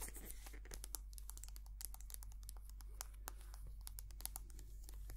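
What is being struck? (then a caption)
Soft plastic squeeze tube of cream. Long painted nails tap and scratch a small white soft plastic squeeze tube of hand cream, hollow and filled with cream. Quick, bright, crisp clicks and crinkly scratches come in a rapid, uneven stream over a steady low hum.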